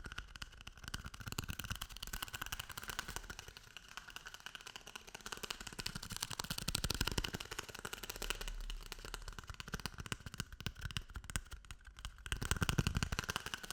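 A paper toilet paper roll is tapped and rubbed in a quick, dense stream of soft, papery taps and scratchy brushing. Dull low thumps sit under a bright, rustling texture, and the level stays quiet and fairly even with a few gentle swells.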